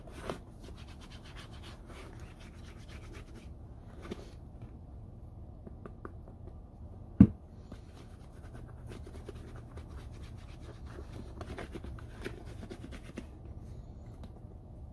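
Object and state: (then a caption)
Leather boot being rubbed. A hollow, empty Red Wing Iron Ranger boot in polished brown leather is rubbed with bare fingers and palm across the toe and upper. The result is a quiet, low, steady scratchy rubbing with faint crackles, broken by one sharp, short knock partway through.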